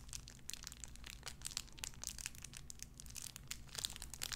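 A small clear plastic bag wrapped around a tiny white figurine is crinkled and squeezed between fingertips with long red nails. Dense, bright crackling and crinkling snaps run throughout over a quiet low hum, each crackle dying away almost instantly.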